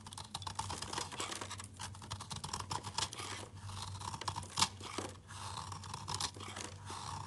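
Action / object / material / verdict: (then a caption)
scrape / bar of soap cut with a knife blade / soap / none. A utility knife blade scrapes and chops small crumbly pieces off a solid rectangular bar of layered rainbow soap with red, yellow, blue and green layers, held in the fingers. Dense, crisp scraping and quick ticking cuts run throughout, bright with a focus around 1 kHz over a steady low hum, with one sharper chop near the middle.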